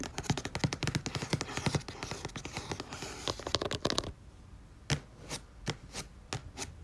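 Long nails tap quickly on the glossy paper cover of a red and orange paperback book lying flat, with a barcode near its edge. For about four seconds the taps come in a dense, fast patter of short, dry clicks with a soft low thud under a bright crisp edge. They then slow to sparser, separate taps over a quieter background.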